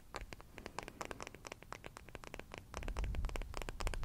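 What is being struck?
Wooden hairbrush back.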